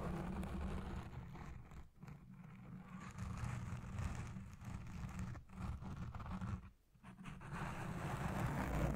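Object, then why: Foam microphone windscreen. Long red nails scratch a black foam windscreen dome on a Blue Yeti Pro microphone, and at the end a hand grips over the top. The result is a dense, muffled scratching rumble sitting mostly in the low end, with brief quieter dips partway through before the grip brings a fuller, louder rustle.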